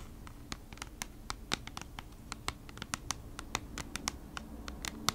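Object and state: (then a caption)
Kraft cardboard packaging sleeve. Long nails tap and scratch the surface of a thin kraft cardboard packaging sleeve held upright. Quick, dry, bright clicks and scratches land irregularly over a low steady hum, each dying away at once.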